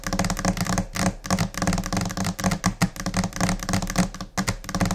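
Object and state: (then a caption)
Laminate desk top, solid surface. Long painted nails of both hands tap in scattered, uneven rhythms on the large, solid, flat white top of a laminate desk, possibly laminated particleboard. The taps come as quick bursts of short clicks over a dull, low knock, with a steady low hum underneath. Each tap dies away almost at once.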